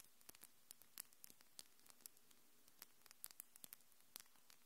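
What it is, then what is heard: Acrylic fingernails clicking. Long, glittery, hard and solid acrylic fingernails are tapped and clicked against each other by both hands close to the microphone. About 25 quiet, sharp, bright clicks come at an irregular pace, each dying away almost instantly, over a steady low hiss.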